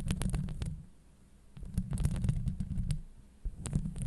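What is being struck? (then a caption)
Steel wire-mesh microphone grille. Long acrylic nails on both hands scratch the hollow steel wire-mesh grille of a Blue Yeti microphone. The result is a deep, muffled rumbling scrape, crossed by sharp, bright ticking clicks. The sound comes in two busy bursts separated by a quieter lull, then swells again at the end.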